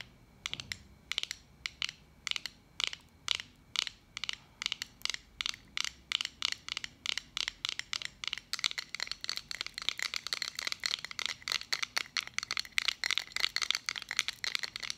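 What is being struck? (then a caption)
Small round metal pin badge. Long acrylic nails tap and scratch the face of a small round metal button badge held close to the microphone. Many sharp, bright clicks with almost no ring come in a steady run, and they grow denser and faster in the second half along with a scratchy hiss.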